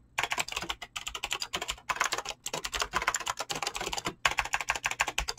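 Fingertips fast-type on a mechanical keyboard with clicky green switches and PBT plastic keycaps. Rapid, bright, sharp clicks come in bursts, with brief pauses between runs of keystrokes.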